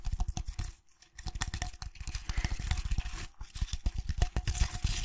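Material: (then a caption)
Jute twine. A tall vase wrapped in rough jute twine and holding artificial flowers is held in one hand while fingertips and nails scratch across the twine. Fast, dry scratching and crackling strokes come in dense runs with a deep, thumpy low end, pausing briefly just before the one-second mark.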